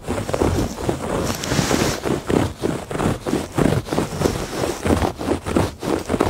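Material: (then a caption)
Woven fabric. Fingertips and nails scratch back and forth across the ribbed surface of a woven textile rug. The result is a series of uneven, rasping strokes. The scratching has a soft, low-to-mid fabric texture with only faint high hiss.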